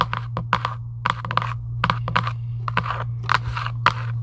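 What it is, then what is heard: Cardboard game box. Long acrylic nails scratch and tap quickly on a hollow Giant UNO cardboard box lying flat. The sound is a run of short, dry, uneven clicks and brushy scrapes with a papery, hollow tone, over a steady low hum.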